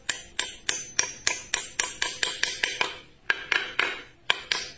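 A long, narrow, solid reddish hardwood strip is held in one hand and struck repeatedly with a steel claw hammer, apparently driving a small wooden pin into it, with short wooden pegs lying on the board beside it. Sharp, bright knocks come in a steady rhythm, each very short with almost no ring, with a brief pause before the last few strikes.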